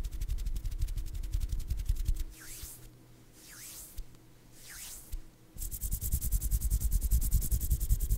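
A cardboard box is tapped quickly and hard, giving rapid, dull, low-pitched thuds. The tapping pauses in the middle for three softer swooshing sounds, then resumes just as fast and loud until the end.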